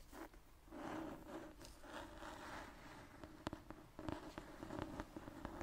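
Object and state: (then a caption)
Old hardcover book, scratched and tapped. A thick antique hardcover book with a marbled paper cover and a brown leather spine is held upright in one hand while dark-painted, medium-length nails scratch and tap its cover. Soft, dry scratching rasps across the paper for the first few seconds, then gives way to a run of sharp, quick taps mixed with lighter scratches. The sound stays quiet and close, with short clicks that die away almost instantly.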